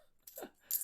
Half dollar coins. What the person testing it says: listen how cheap that sounds it's like barely any silver in these